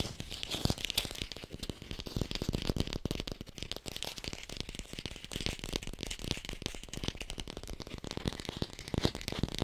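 An artificial plastic red apple is tapped fast with the fingers and recorded on a hi-fi microphone. The result is a dense, steady stream of quick dry clicks with a low hollow thump under a bright crackly edge, and no ring after each tap.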